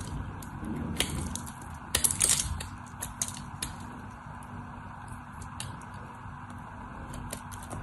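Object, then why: Bar of soap. A craft knife blade scrapes and scores the surface of a solid white soap bar. The result is a series of dry, bright scratching ticks over a low, steady background noise. The loudest burst of rough scraping comes around the two-second mark.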